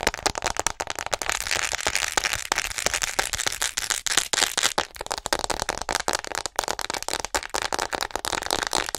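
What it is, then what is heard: Plastic acupuncture model doll. Long nails tap and scratch fast and aggressively across the back of a hollow white plastic acupuncture model doll. The result is a dense, continuous stream of sharp, bright clicks and crackly scratching with almost no low end, and each tap dies away instantly.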